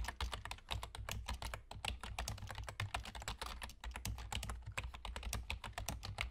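Fingertips with short nails from both hands type rapidly on a full-size black plastic computer keyboard with German key labels and hollow keys. It makes a dense stream of short, bright clicks and clacks over a steady low hum.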